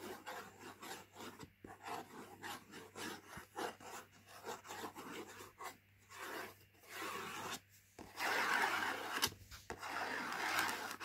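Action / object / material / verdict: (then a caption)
scrape / printed cardboard food box / cardboard / none. Fingertips and nails rub and scratch across the printed surface of a latkes mix cardboard box lying flat. Soft, dry, irregular scraping strokes build to a denser, brighter scratching near the end.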